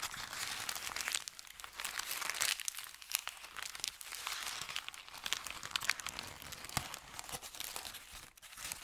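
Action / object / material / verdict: scrape / kraft paper bag / paper / none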